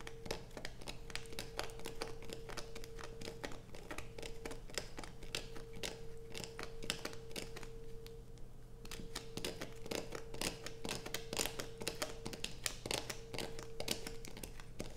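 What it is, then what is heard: Bar of soap. Long acrylic nails scratch and shave the surface of a solid light-blue bar of soap held in both hands over a pile of soap shavings on black fabric. Dense, rapid, crisp scraping strokes crackle with bright edges throughout, over a steady low hum and a faint constant mid tone.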